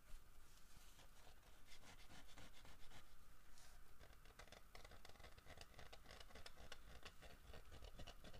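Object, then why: Carved wooden bear figure. Knuckles and fingernails knock and scratch the carved back of a large, solid carved wooden bear figurine. A quiet, steady patter of short, dry taps mixes with scratchy rubbing, with dull low knocks underneath and brief bright clicks on top. Each hit dies away almost at once.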